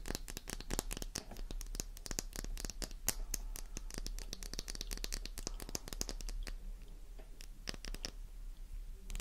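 A small, solid, flower-shaped pink bar of soap, fresh and intact, rests in a palm while long manicured nails tap and scratch it quickly. Dense, sharp clicks and bright scratching textures run continuously over a low, steady hum.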